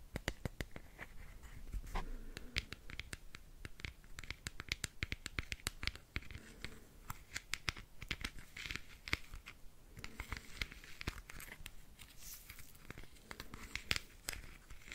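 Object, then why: Small clear plastic nail-art wheel case with rhinestones. A small round clear plastic nail-art wheel case with compartments of rhinestones is held in the hand while fingernails scratch and rotate its lid. The result is a dense, continuous run of sharp, dry plastic clicks and scratchy ticks with bright edges, each dying away almost instantly, over a quiet low background.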